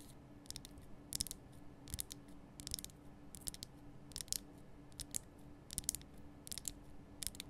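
A large, lit pink Himalayan salt lamp, a solid rough rock-salt crystal, is held in both hands and scratched and tapped with long painted nails. Quiet, irregular bursts of bright, crisp clicking and scraping stand out over a low steady hum.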